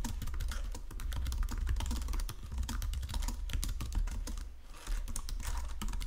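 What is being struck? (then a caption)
Plastic computer keyboard. Fingertips with painted nails type steadily across the low-profile keys of a full-size white and silver plastic Logitech keyboard resting on a marble desk. Quick, soft plastic clicks and taps run continuously over a steady low hum, each keystroke dying away almost instantly.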